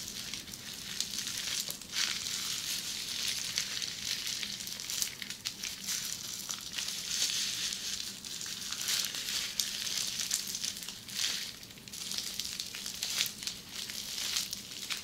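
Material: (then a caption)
Plastic. Long nail tips scratch and tap across the small bubbles of a flat sheet of red plastic bubble wrap. The sound is a steady, bright, crinkling hiss with crackly ticks and scratchy swells, and almost no low end.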